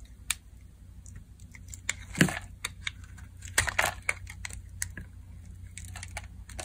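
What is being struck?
Bar soap carved with a metal blade.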